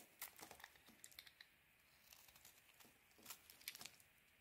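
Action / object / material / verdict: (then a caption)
scrape / soap bar scraped with a metal blade / soap / none. A metal blade scrapes and carves crumbly flakes off a solid, palm-sized white soap bar with a pink coating, held in the hand. The result is a quiet series of short, crisp, bright crackling scrapes with almost no low end, clustered near the start and end with a softer stretch in between.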